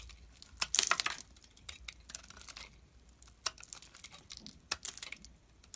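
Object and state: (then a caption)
Bar of soap being shaved. A metal blade shaves pieces off the remaining solid chunk of a red and white soap bar held in the fingers. The result is a run of quick, dry, bright scraping and crackling cuts with almost no low end. The densest burst comes near the start, followed by sharp, separated scrapes.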